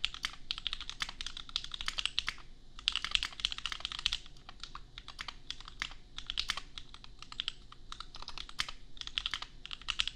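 A $250 custom 60% mechanical keyboard with Gateron Milky Yellow switches and red and white plastic keycaps, resting on an anime desk mat, is typed on with the bare fingertips of both hands. Rapid, bright plastic clacks come in bursts with brief pauses between them, each keystroke short and dry with almost no ring.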